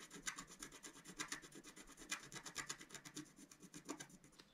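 A pointed wooden stylus held in the fingers scratches across a flat, about A4-size black-coated scratch-art sheet over rainbow foil lying on a table. It makes a quiet, steady run of short, dry, bright scraping strokes with an uneven rhythm and no ring after each one.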